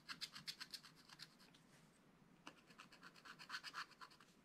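A wooden stylus scratches the tree trunk area on the black-coated card of a flat, spiral-bound scratch-art pad, making quick, bright, rasping strokes at a steady brisk pace. The strokes thin out into a quiet, faint scratching for about a second in the middle, then resume with a sharp stroke and continue in a dense run of crisp scrapes.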